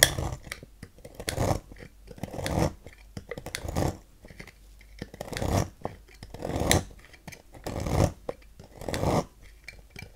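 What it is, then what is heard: Green bar soap being carved. A thin metal knife carves fine, curled shavings from the cut face of a solid green bar of soap held in the hand. Each stroke makes a soft, crunchy scraping rasp that swells and fades. The strokes repeat at an uneven, unhurried pace of roughly one a second, with quiet pauses between them.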